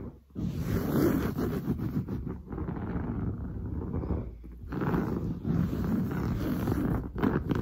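Long blue nails scratch fast and hard across grey-brown, textured woven fabric on a padded sofa. The result is a dense, rough, continuous rasping with a heavy low-end rumble, easing briefly in the middle before picking back up.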